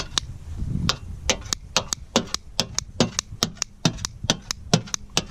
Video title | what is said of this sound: 1967 Volvo 1800s for Sale on BringaTrailer.com | Sounds like metal.